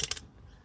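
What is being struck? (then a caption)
Pearl-headed pin with glass head. A vintage pearl-headed pin is tapped on its head while being sorted for a needlebook, giving quick, bright, high-pitched clicks that die away almost instantly. The sound shows the head is glass rather than plastic, so the pin is acceptable; plastic ones are rejected.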